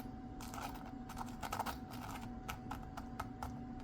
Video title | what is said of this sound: Chicken and Brussels sprouts Easy Meal | Listen to this. That is crispy skin.